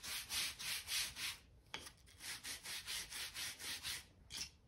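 A stiff-bristle crevice brush is rubbed back and forth along the joints between solid oak floorboards. It makes a steady rhythm of bright, hissy scrubbing strokes, broken by a short pause and a sharp tick before the brushing resumes.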